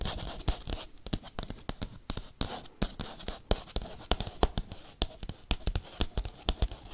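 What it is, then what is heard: Bubble mailer. A padded bubble mailer envelope is tapped and scratched quickly with paperclips. Sharp, dry clicks come in an irregular rapid run over a soft, crinkly scratching rustle. Each tap dies away almost at once.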